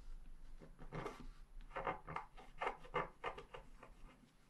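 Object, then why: Scratch-art paper sheet scratched with a wooden stylus. A wooden stylus scratches flower details near the bottom of a flat, black-coated scratch-art paper sheet while the other hand holds the sheet. The result is a quiet, uneven series of short, dry, rasping scratch strokes, mostly in the midrange with a faint low hum underneath.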